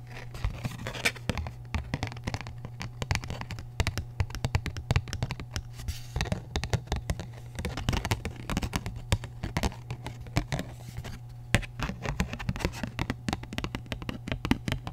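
Long nails scratch and tap the flat surface of a thin printed paper paint-chip card with orange shades, held close to the mic. Quick, crisp scratches and light taps come in dense, uneven bursts with bright papery edges. A steady low hum runs underneath the whole time.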